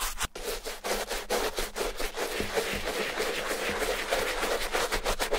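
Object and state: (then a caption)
Leather sneaker being scrubbed. A wooden bristle brush scrubs the soapy heel and toe upper of a white leather Adidas Stan Smith sneaker with a green heel tab, held in the hand. Steady back-and-forth strokes make a continuous bristly, wet scratching hiss with a bright edge, pulsing slightly with each pass.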